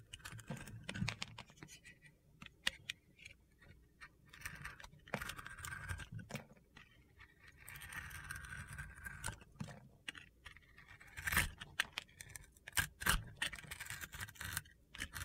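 A utility knife blade shaves strips off the surface of a solid blue bar soap with glitter and sequins held in the hand. The sound is made of quiet, crunchy scraping and gritty scratching strokes with frequent sharp ticks and taps, and some passes are louder and brighter than others.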